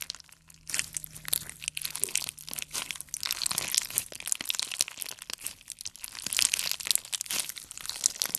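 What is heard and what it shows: A palm-sized ball of clear slime packed with multicolored beads is held in one hand and squeezed and kneaded with the fingers. It gives a dense run of crunchy, crinkly pops, bright and crackling, after a short quiet start.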